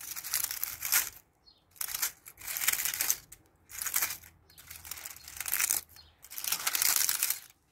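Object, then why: Ivy leaves. Long painted fingernails grab, pluck and crush dry, brittle brown ivy leaves from a dense mat covering a brick shed wall outdoors. The result is a series of bright, dry crunching and crinkling bursts separated by short quiet gaps.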